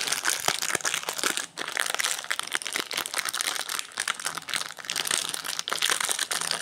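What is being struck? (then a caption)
Plastic-wrapped protein bar. Fingertips of both hands pinch, rub and crinkle the plastic, foil-lined wrapper of a solid teal Quest protein bar, with an orange bar lying untouched nearby. The result is a steady stream of crisp, bright crackling and rustling with many short sharp snaps, almost no low end, and no ring after each crackle.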